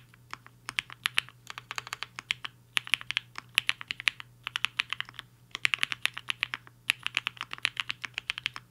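Fingertips of both hands type on a HI-FINGER 7.5, a black-cased 75% mechanical keyboard with a hollow case and white and pink plastic keycaps, resting on a desk mat. Around sixty quick, bright, clacky keystrokes come in bursts separated by short pauses, each one dry and dying away almost instantly.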